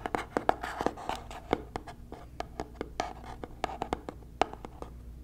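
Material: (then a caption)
Cardboard. Fingernails scratch and tap a small white cardboard box held close to the microphone. A rapid, uneven run of crisp, dry taps with a hollow midrange tone mixes with soft scratching between them. Each tap stops almost instantly.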